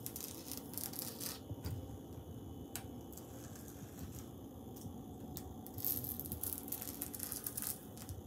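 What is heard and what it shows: Fingers tap and scratch across tiles on a wall, tracing along the lines between them. Soft, dry scraping runs throughout, broken by brief sharp clicks. A brighter, louder stretch of scratching comes near the end before it eases off.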